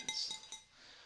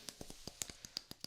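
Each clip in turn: First: glass vase. Second: wooden block.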